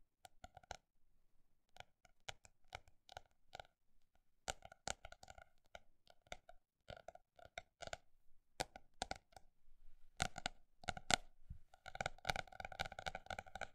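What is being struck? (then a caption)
Paper notebook. A paper notebook is tapped with a fast, uneven rhythm, alternating slower spaced taps with quick bursts. Each tap is a short, dry click with a mid-range tone and no ringing, and the quiet taps grow denser and more continuous toward the end.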